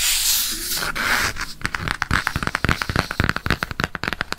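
Fingernails scratch and tap along the glossy cardboard cover and spine of a floral "Dessins" paperback book held at an angle. It opens with a steady, bright, hissing scratch for about a second and a half. Then comes a quick run of short, crisp taps and clicks that fade in and out until the end.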